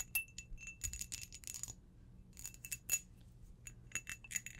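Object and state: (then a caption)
Cut crystal glass tumbler. An empty, hollow, clear cut-crystal glass tumbler is held in one hand and tapped with long blue acrylic nails. Rapid bursts of bright, glassy clicks and tinkling pings come in quick clusters with brief pauses between. Each tap is high and thin and dies away almost at once.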